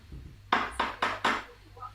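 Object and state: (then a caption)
Metal Vaseline container. Four sharp, bright taps on Mummy's Vaseline bottle each give a short metallic ring centred near 1 kHz and fade quickly against a quiet background. The bottle sounds like metal, and a magnet test confirms it contains metal, since it sticks.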